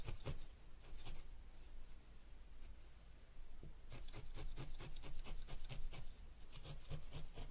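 A thin felting needle repeatedly pokes a small yellow wool ball resting on a white foam pad. Each jab makes a soft, dry crunch with a short bright tick, over a low steady hum, in an irregular rhythm. The pokes thin out in the middle before picking up again in quick bursts.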